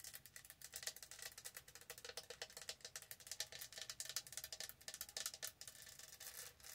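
Long nails scratch and rub rapidly over the raised diamond studs of a light blue, hollow, lidded plastic tumbler as it is rotated in both hands. The result is a quiet, dense stream of dry, bright, scratchy clicks and rasps with almost no low end and no ringing.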